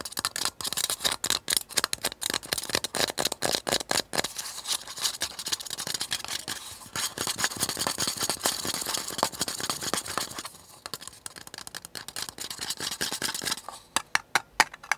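Long painted nails tap and scratch the sides of a small, empty, hollow disposable paper cup with a blue flower pattern, held upside down in the hands. Rapid, dense, dry clicks and papery scratching stay bright and thin, with almost no low end and very short ring. The pace eases into softer scratching around the middle before ending in sparser, sharp taps.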